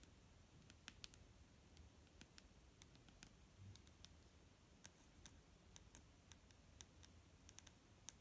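Long fingernails tap the side of a large clear plastic micellar water bottle, full of foamy liquid and held in one hand. About two dozen quiet, sharp, bright clicks come at an uneven pace, each dying away almost instantly over a soft, low rumbling background.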